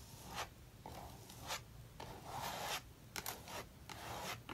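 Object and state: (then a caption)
Palette knife spreading thick paint on a paper page. A metal palette knife spreads thick maroon acrylic paint in vertical strokes across a paper sketchbook page, reworking an abandoned page. The strokes make dry, rasping scrapes with bright, hissy edges, rising and falling over a low, steady background rumble.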